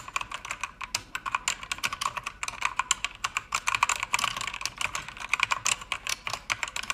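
A full-size pink plastic mechanical keyboard with pink backlight and plastic keycaps on an aluminum panel is typed on by fingertips with long red nails. The result is a rapid, uneven run of short, bright clacks with tight, dry decays, with almost nothing in the low end.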